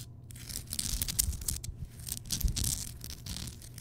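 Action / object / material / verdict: scrape / rock salt lamp / rock salt / none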